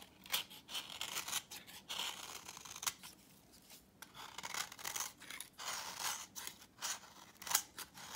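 A utility knife blade shaves the face of a thin, worn, orange dry vintage soap bar held in hand. Quick, crisp scraping strokes come in bursts with a crunchy, high, bright texture as dry crumbs flake off, and almost no low end beneath.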